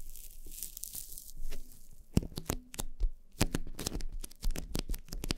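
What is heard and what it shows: Long painted nails of both hands scratch and tap two soft, porous black foam windscreens on upright microphones. A bright, hissy scratching and rustling fills the first two seconds, then gives way to a quick, irregular run of sharp, dry taps with short, dull thumps beneath.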